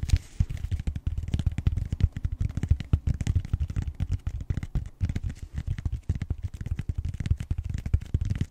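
Fingertips and short nails scratch the edge and face of the flat round end of a purple, bead-textured styrofoam roller. The result is a rapid, uneven stream of dry, dull scratching bursts, low and muffled, with no ringing between strokes.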